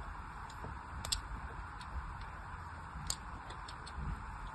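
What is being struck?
Bar of soap scratched with a metal needle.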